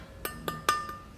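Pork just taken out of the freezer, frozen so hard it can't be cut and with ice still stuck to the meat, is knocked to show how hard it is. Three hard, glass-like clinks ring out, followed by a fainter fourth, each with a bright ringing tone around 1.2 kHz that dies away quickly.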